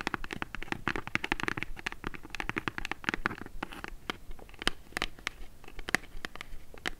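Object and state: Kraft cardboard box.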